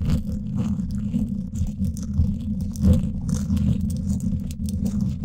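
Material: Steel mesh.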